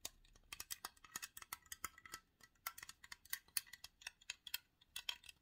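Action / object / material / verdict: tap / aluminium drink can / aluminium / none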